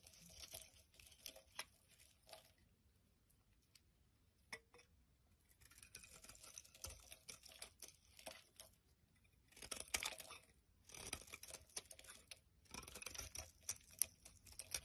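A utility knife blade scrapes flakes off a solid pink bar of soap held in the hand. Quiet, dry, bright crackling scrapes come in bursts separated by short pauses, with little low end.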